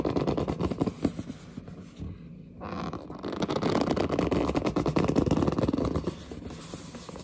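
Long dark-painted nails scratch and grip a large, flat, hollow printed cardboard retail box for a pink gaming headset held against the chest. The result is a dense run of quick, papery scraping and scratching with low, hollow body, dropping to a quieter stretch briefly around two seconds before the rustling texture picks back up and continues to the end.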